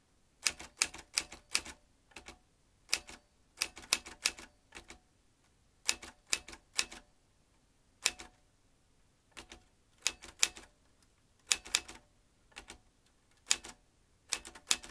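A vintage metal manual typewriter with round keys and typebars is typed on by the fingertips of both hands. Bright, sharp clacks of the typebars come in quick bursts separated by short pauses, each strike dying away almost instantly.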